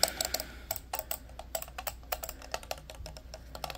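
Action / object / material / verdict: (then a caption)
tap / hard-plastic computer mouse / plastic / none. A small, hollow, orange and black hard-plastic corded computer mouse is turned in the hands and tapped and clicked with fingernails. About twenty sharp, bright, dry ticks and clicks with a hollow knock around 650 Hz come in quick uneven succession, each dying away almost instantly over a faint steady low hum.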